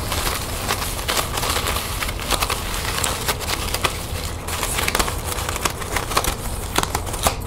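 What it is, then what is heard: Plastic ribbon gift bow. A small, light green metallic plastic ribbon gift bow sitting on a table has its loops scratched and crinkled by long nails. The result is a steady run of dry, bright crinkling and crackling with many quick sharp snaps over a low background rumble.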